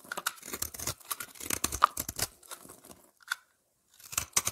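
A utility knife blade scrapes a solid oval lavender soap bar with a scalloped edge, held in the hand, shaving off thin flakes. The result is a run of short, dry, bright scraping crunches with a brief quiet pause before a few final strokes.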